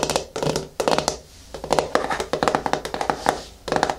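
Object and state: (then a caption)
Plastic jar lid. Long nails and fingertips tap the flat top of the screw lid on a medium yellow plastic hair mask jar resting on a wooden table. Quick bursts of light, hollow clicks with a plasticky tone near 540 Hz and bright nail ticks come in uneven clusters, each dying away almost at once.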